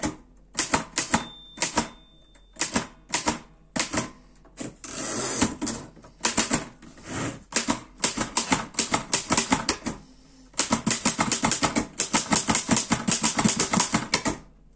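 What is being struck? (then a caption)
Metal portable typewriter. Fingertips type on the keys of a black metal Erika 5 portable typewriter, producing bursts of sharp, bright mechanical clacks. The bursts are separated by brief pauses, and a softer whirring, sliding stretch sits near the middle. A tone rings briefly near the start, and a long, dense run of rapid keystrokes comes near the end.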